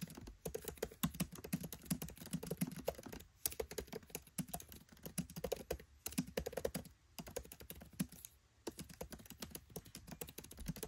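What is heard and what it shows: Fingertips type rapidly on a MacBook Pro 13 keyboard, its black plastic keycaps set in an aluminium body. The key taps are quick, soft, low clicks and thuds. They come in dense bursts broken by brief pauses.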